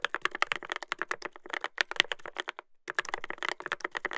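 Fingertips type continuously on a Dolphin 2021 mechanical keyboard with a brass plate and plastic keycaps. Its rapid, dry clicky keystrokes have a bright clack centered around 2 kHz, with a brief pause near the middle before the typing resumes.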